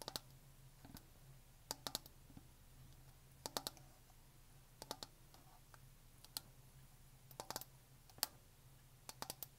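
A black Blender Bottle shaker bottle, with a hollow plastic body, black lid and clip, is held sideways in both hands and tapped and clicked with long painted fingernails. Sharp, bright, dry clicks come in quick bursts and clusters, each dying away almost instantly over a faint steady low hum.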